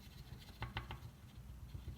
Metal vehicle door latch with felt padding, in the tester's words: now you can't hear that tapping like we did before